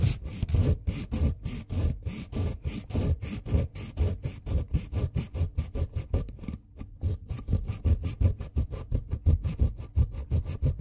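A pink wooden colored pencil tip is filed by hand across a ribbed steel file, leaving pink pigment powder spread on the file. The clip is a steady run of quick, dry rasping strokes with a low, gritty scrape under a brighter hiss, each stroke short and separated by brief gaps, with a slight pause near the middle.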